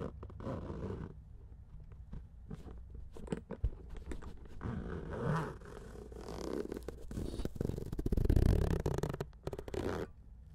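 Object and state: Fabric-covered keyboard case being scratched.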